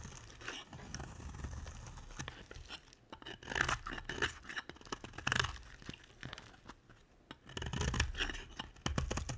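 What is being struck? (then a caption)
Soap bar. A utility knife blade shaves curls off the edge of a solid pink embossed bar of soap, making dry, crunchy scraping and tearing sounds in close, repeated strokes. The cuts come in bursts with brief quiet gaps and a soft low rumble underneath.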